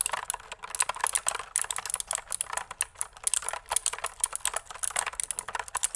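Long nails and fingertips type on a pink plastic mechanical keyboard with pink and white keycaps and a hollow body, held upright and tilted. A dense run of quick, bright plastic clacks rattles along, each dying out almost at once with almost no low end.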